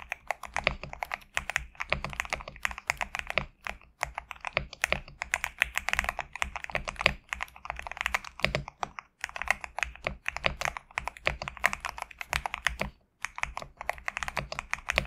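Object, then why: Mechanical keyboard with PBT plastic keycaps. A compact GMK67 mechanical keyboard with PBT plastic keycaps, resting on a desk mat, is typed on rapidly with the fingertips. Dense, fast streams of short, bright clicking keystrokes sound with a faint low hum underneath. Brief pauses break up the typing.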